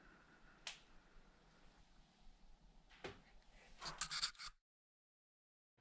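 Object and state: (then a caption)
Sound-deadened van body panel, damped. Six taps on a Sprinter van's steel sheet-metal wall panel, freshly covered with stick-on sound-deadening material during a 2020 van build. The first tap is isolated, followed by a quicker cluster of bright, dry knocks near the end. Each tap dies away almost instantly, so the treated panel sounds damped rather than ringing.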